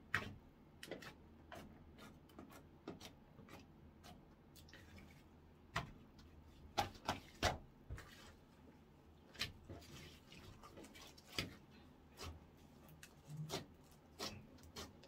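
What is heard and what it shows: Fingertips poke, stretch open and fold orange clear slime on a wooden counter. The result is a quiet, irregular series of sharp, wet clicks and sticky pops with bright edges, separated by soft squelching.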